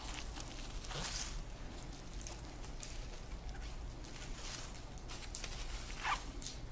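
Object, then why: Woven dried grass sock. Fingertips pull, twist and rub loose dried grass strands, weaving them into the rows of a hand-sized, hollow twined grass sock. Dry rustling and crinkling come in soft bright bursts over a steady low hum, with a sharper crackle near the end.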